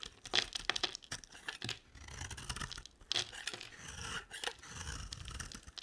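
A box-cutter blade shaves and carves a solid, rectangular, olive-green laurel-type soap bar held in the hand. Crisp, bright scraping and shaving strokes come in short bursts with brief sharp peaks, then softer, steadier scraping between them.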